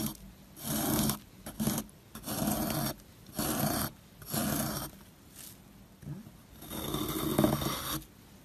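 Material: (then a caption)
Soap. A solid, dry white soap bar held in the hand is scraped with a metal loop carving tool in a series of rasping strokes, each a breathy, crumbly scratch separated by short pauses. The strokes carve grooves into the soap and leave crumbs behind.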